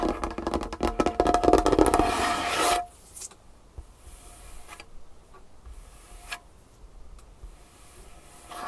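Long nails rapidly tap and scratch a large, solid, varnished wooden tabletop, making a dense, bright rattle of clicks and scraping for about three seconds. It then stops abruptly, leaving near-quiet with only a few faint, scattered taps.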